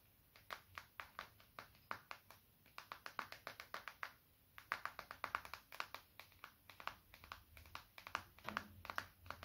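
A small, dark, solid smartphone with a glass screen is held in one hand and tapped and scratched across its screen and case with fingertips and short nails. The result is a quiet, irregular stream of short, dry clicks and taps, each with a crisp mid-range tick that dies away almost instantly, with a brief pause near the middle before the tapping resumes.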